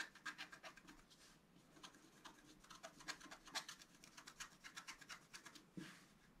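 A wooden stylus scratches fine lines into a flat, black-coated scratch art card about A4 in size, lying on a table. The result is a quiet series of short, dry, bright scraping strokes, briefly thinning out after the first second before picking up again and ending with a longer, softer rub.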